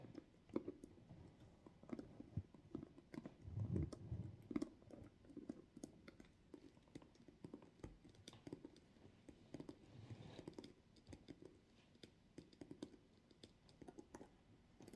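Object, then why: Synthetic leather backpack. Long acrylic nails tap and scratch the sides and straps of a small, hollow, floral-printed faux leather (synthetic) backpack standing on a table. The result is a quiet, steady stream of dozens of quick, soft taps with dull low thuds, mixed with faint bright scratchy clicks that stop almost at once.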